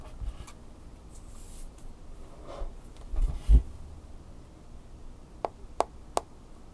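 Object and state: Smartphone glass screen tapped with fingernails.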